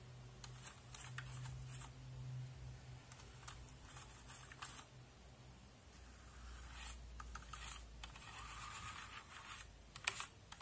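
A small brush and fingers move across a backlit mechanical keyboard with plastic keycaps, brushing the keys and pressing them. Soft, bright bristle swishes and scratchy scrapes come in bursts over a steady low hum, with light clicks scattered throughout and a sharper, louder click near the end.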